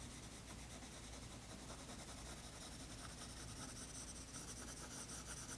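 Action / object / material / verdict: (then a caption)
scrape / colored pencil on a toned paper sketchbook page / paper / none. A colored pencil rubs shading strokes across the tan toned paper page of a spiral sketchbook. The quiet, steady, dry scratch and hiss runs continuously over a low background rumble, with brighter pencil grain and small strokes pulsing through it.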